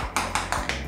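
Ceramic floor tiles are tapped four times during an inspection for hollow tiles, meaning tiles not bonded to the bed below. Each tap gives a short, hollow-sounding knock with a bright, papery top and a quick decay over a low steady hum. The tiles are found to be hollow.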